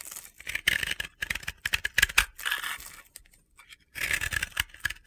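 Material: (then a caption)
Pressed powder. A utility knife blade scrapes powder from the surface of a hand-sized, solid, blue and yellow crumbly sphere: a dry, powdery soap ball (bath bomb) held in the hands. Short, dry, gritty scraping bursts with a bright, hissy edge come in uneven strokes, separated by brief silences.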